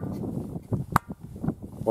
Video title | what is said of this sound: The Ringing Stone, Tiree | ringing the north face and getting much deader sounds